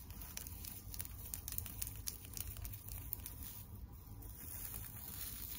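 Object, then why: Tinsel decoration on a wire frame. Long nails scratch and crinkle the tinsel on the face of a flat pink and white tinsel teddy bear decoration built on a wire frame. The result is a quiet, steady stream of dry crinkling and scratchy patter with small bright ticks over a soft low rumble.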